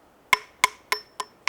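A climber taps a rock face with a hammer five times to check it before placing a bolt. Each tap gives a sharp, bright, ringing click with a tone near 2.2 kHz that dies away almost at once, with no low thud. The rock is solid and not moving.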